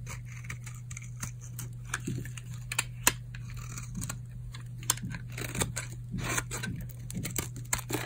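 A metal blade shaves flakes off a solid orange bar of hard, dried soap held in the palm, making a repeated scrape and cut. Short, dry, crisp scraping and crunching strokes with bright edges come in quick succession over a steady low hum, with no ring after each stroke.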